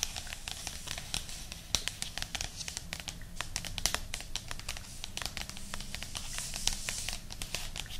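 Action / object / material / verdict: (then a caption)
tap / paperback book cover / paper / none. Long nails scratch and tap the top cover of a thick paperback book lying flat with its spine toward the camera. A steady stream of bright, crinkly scratches is broken by many quick, sharp taps that die away at once, over a soft low rumble throughout.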